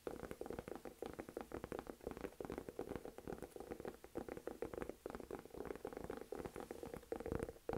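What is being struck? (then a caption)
Textured leather crossbody purse. Long nails rapidly tap and scratch the front panel of a medium-size, hollow olive green saffiano leather crossbody purse. The result is a dense stream of short, dry clicks and scratches with a mid-range, slightly hollow tone.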